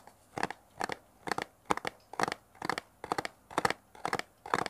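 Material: Cardboard.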